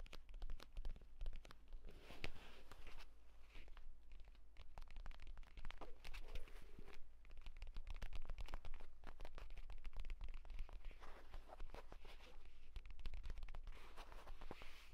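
Fingertips and short nails tap and scratch quickly near the spine of a purple pebbled leather folio tablet case lying flat. The result is a dense, continuous stream of soft, dry clicks and scraping rustles, with no ringing, over a steady low hum.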